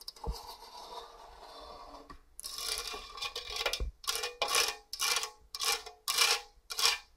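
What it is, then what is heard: Stainless steel box grater scraped by fingernails. Long orange nails scratch over the fine and coarse grating holes of a hollow stainless steel box grater. A quiet, continuous rasp gives way to louder, bright scraping, ending in six separate rough strokes with a hollow metallic edge and almost no low end.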